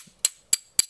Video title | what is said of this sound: 3D Baskıda Seviye Atlatan Filament: Polymaker Artık Türkiye’de! | Birbirine vurduğumuzda metal sesi geliyor. Çünkü içerisinde de metal alaşımı var.